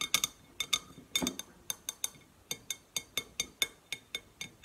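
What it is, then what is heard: Stainless steel water bottle tapped with fingernails. Long painted nails tap about 21 times on the sides of a red painted stainless steel insulated water bottle labelled CHERRY, with a steel base, hollow, held and then stood upright on a wooden table. Each tap is a quick, bright metallic clink with a glassy ping and very little low end, dying away almost at once. The taps come in an uneven rhythm of singles and quick pairs.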